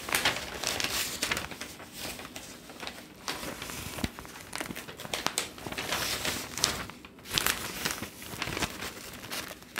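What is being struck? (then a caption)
Newsprint newspaper. A large, thin newsprint newspaper is held upright in both hands while fingertips turn and crinkle its sheets. Dense, bright crinkling and crackling rustles come in overlapping bursts, with quieter gaps between page turns.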